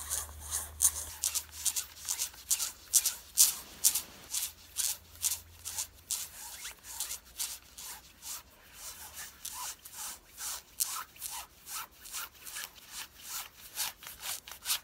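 Long fingernails of both hands scratch worn light-blue stretch denim jeans in quick, fairly steady strokes, about two per second. Each stroke is a bright, dry, high-pitched rasp with a short, clipped decay. A faint low hum sits underneath during the first few seconds.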